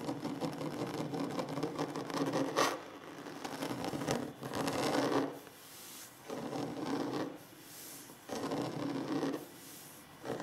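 Short fingernails scratch the surface of a large, solid wooden tabletop in repeated bursts of dry, rasping friction, each separated by brief quieter pauses. The scratching is mostly mid-range, with a bright hiss on top and little low end.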